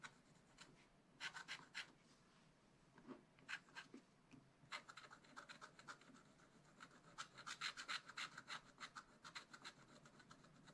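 A wooden stylus scratches lines into the coating of a black wax-coated scratch art sheet in a small spiral-bound pad, lying flat on a table while the other hand holds the pad. Short, bright, dry scratching strokes come in quick, uneven clusters, each dying away almost at once, over a faint low background hiss.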